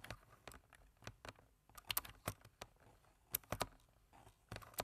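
Fingertips of both hands tap the keys of a black plastic computer keyboard in steady typing. About fourteen short, crisp clicks and taps of uneven loudness come in quick succession, each bright and dry with almost no ring, over a quiet background.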